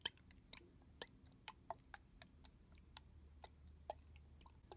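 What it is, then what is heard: Plastic body mist bottle, filled. Fingers tap on the back of a red translucent plastic body mist bottle with a barcode sticker, held sideways and filled with liquid. Thirteen short, dry, bright clicks land at uneven intervals, each dying out almost at once over a faint low background hum.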